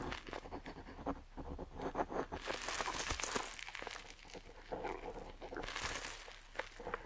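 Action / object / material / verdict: scrape / metal dip pen nib on parchment-style paper / paper / none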